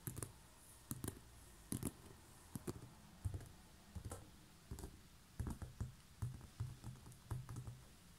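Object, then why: Coiled woven straw basket. Long fingernails tap and scratch across the coils on the side of a large, hollow, coiled woven straw basket. About eighteen short, dry clicks and taps come in irregular bursts, each with a soft, hollow low thump under a faint bright tick and almost no ring. Light scratchy rustles fill the gaps against a quiet background.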